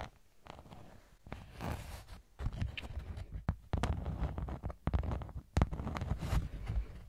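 A thin pink honeycomb-textured beeswax sheet is held beside the mic, then lowered in front of the body, and scratched with long nails. The result is a low, muffled, irregular scratching and rustling with occasional sharper scrapes, sitting mostly in the bass with very little brightness.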